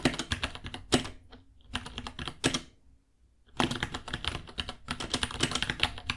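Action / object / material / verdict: tap / plastic mechanical keyboard / plastic / none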